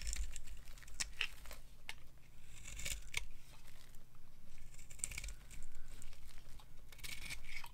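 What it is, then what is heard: Dry bar soap carved. A hand-sized, solid white bar of dry soap with a black coating is held in the hand and scraped with a metal knife into thin, crumbly flakes. The clip is a continuous run of dry, brittle scraping and crackling, with sharp bright transients over a low, steady rumble.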